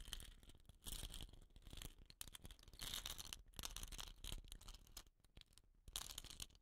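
Fingertips and short nails scratch and tap the painted surface of a hollow, dot-painted bamboo rain stick with a woven rattan end. Bursts of bright, dry scratching and crisp taps come in dense clusters over a low rumble, fading between strokes.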